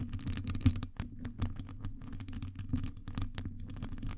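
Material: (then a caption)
Metal mesh. Long nails scratch and tap across the surface of a hollow metal wire-mesh microphone grille. Dense, quick scratches and taps run throughout over a steady low hum, with the strongest tap just before the one-second mark.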